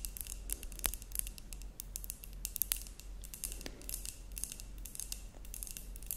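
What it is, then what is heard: Glass terrarium jar tapped with nails. Long nails tap quickly and lightly on a glass terrarium jar with a cork lid that holds soil and moss. The sound is a busy run of short, bright ticks and clicks with no ring after each tap, over a steady low hum.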